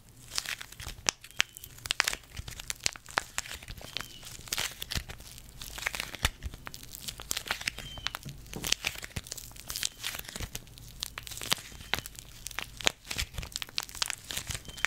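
A small, full red foil-laminate face mask sachet is held in the fingers, crinkled and tapped with long red nails. Dense, bright crinkling and sharp ticking taps run continuously over a faint low hum.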